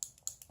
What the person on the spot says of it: you can hear the little ball in there helps shake up the color